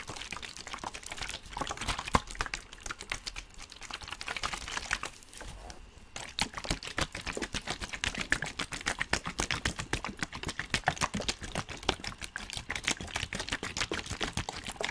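A clear plastic water bottle with a blue cap, hollow and partly filled with water, is held in both hands close to the microphone and squeezed and crinkled with the fingertips. Rapid, irregular bright crackles and clicks fill the clip, with a brief quieter pause around the fifth to sixth second. The water inside may slosh faintly beneath the crinkling.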